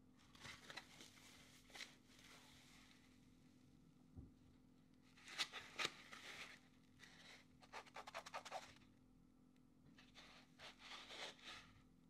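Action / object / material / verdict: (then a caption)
scrape / expanded polyethylene foam insert / polyethylene foam / none. A soft, flexible grey expanded polyethylene packing foam insert from an Ulanzi MagSafe Mount ST-28 unboxing is squeezed, bent and rubbed between the fingertips. It makes crinkly, bright scratching sounds in short, irregular bursts with quieter pauses between them, over a faint, steady low hum.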